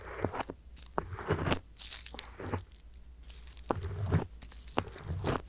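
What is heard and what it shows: A wooden ear pick scrapes inside the ear canal of a soft silicone ear mounted on a white box binaural microphone. The result is a series of close, crunchy scraping and crackling strokes with bursts of bright rustle, all over a low background rumble.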